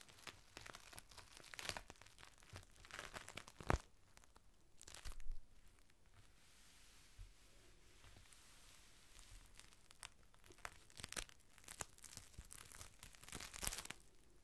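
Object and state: Clear plastic rain cover being crinkled.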